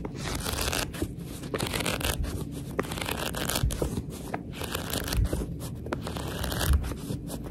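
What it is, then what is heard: Paperback book pages riffled and scratched. Long red fingernails and a thumb riffle and scratch the paper page edges of a paperback book held close up. The result is a steady dry rustle and scrape with frequent soft ticks and a low, dense texture underneath. No hits stand apart cleanly enough to count.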